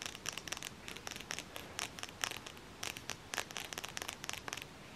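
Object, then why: Cardboard eyeshadow palette. Long fingernails tap quickly on the edge of a closed, flat black cardboard eyeshadow palette held edge-on. The taps come in irregular bursts of short, bright, dry clicks that stop almost instantly, over a faint steady hiss.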